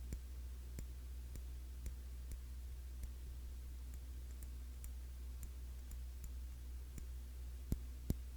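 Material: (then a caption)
Glass. Fingertips tap on the glass body of a cologne bottle, a Classic Match clone of YSL Y, making short, bright clicking ticks that stop almost instantly. The taps come at an uneven pace over a steady low hum, and the last two are noticeably louder.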